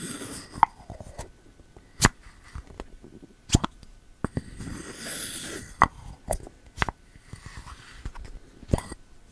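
A bamboo lid is pushed and rubbed in the rim of a pink ceramic candle jar held sideways, using the fingertips. About a dozen sharp, dry clicks and knocks sound with no ring, spread over quiet gaps. Around the middle comes a soft, airy scraping rub.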